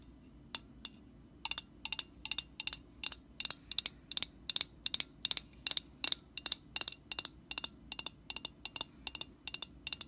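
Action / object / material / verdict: tap / metal aerosol spray can / metal / none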